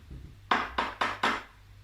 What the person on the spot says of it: has a funny sound because it sounds like metal